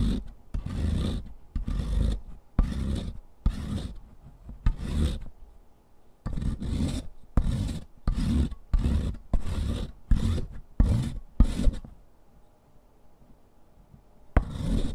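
A solid stick of pink sidewalk chalk is rubbed by hand over the metal perforated surface of a purple foot-file grater, held at an angle on cardboard. It makes a series of separate rasping, scratchy strokes with a deep, low rumble. A longer pause comes before a final stroke at the end.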